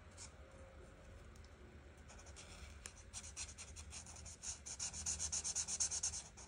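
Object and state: Marker coloring on a paper page.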